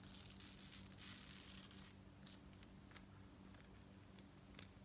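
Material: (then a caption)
Metal. Long nails scratch and tap a worn lariat necklace of gold-tone metal beads on a dark cord with fringe at the bottom. A dense, bright scratching rasp fills the first two seconds, then gives way to quieter, irregular clicks and taps over a low steady hum.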